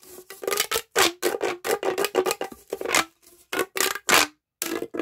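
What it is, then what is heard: Plastic pop tube. A pink, hollow, corrugated plastic pop tube about 30 cm long is held in both hands and stretched and bent with the fingertips so its ridges click. A rapid series of short, bright, crackling clicks and ratchety pops comes in quick bursts with brief pauses between them. Each burst carries a faint resonant tube tone beneath it.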